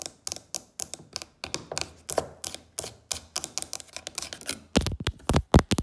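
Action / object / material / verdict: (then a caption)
tap / carved wooden box with brass inlay / wood / none. Long acrylic fake nails tap and click across the carved surface of a medium wooden box or chest lid with a brass elephant inlay and a solid-looking top. The result is a quick, dry run of crisp clicks with bright edges over low woody knocks. Toward the end the taps grow louder and deeper.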